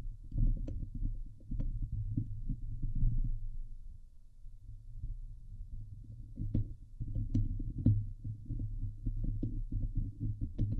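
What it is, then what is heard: Metal mesh microphone grille being scratched. Fingernails on both hands scratch the hollow steel wire-mesh grille of a Blue Yeti microphone head. The result is a dense, low, rumbling scrape that swells and fades, broken by occasional sharp, bright ticks.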